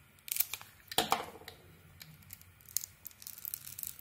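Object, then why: Soap bar cut with a small metal blade. A small metal blade carves and scrapes curled shavings off a palm-sized, solid purple bar of soap with a printed pattern, held in one hand, exposing its white interior. The result is a series of dry, crisp scraping strokes with bright, short, crackly bursts. A few louder cuts stand out among lighter flicks.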